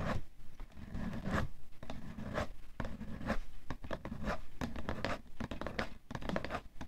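A fingernail scratches along the side edge of a cardboard tissue box. It makes a steady run of dry, rasping strokes, each with a low, papery rumble and a quick bright scrape that stops without ringing.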